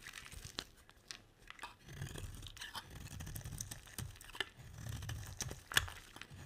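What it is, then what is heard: Bar of soap being scraped. A metal utility blade shaves and scrapes a solid green bar of soap, sending curls falling off. Dry, crunchy scraping and tearing strokes come with sharp, bright ticks and clicks, over quieter stretches of low, rough rasping.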